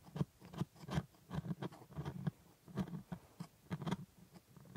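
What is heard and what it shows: A gloved hand scrapes and picks at the white plastic teeth of a plastic jaw model with a metal scaler. It makes a quick, irregular series of short, dry scratches and clicks with a soft low thud under each one and brief bright ticks on top. The sound is quiet and close, with almost no ring after each stroke.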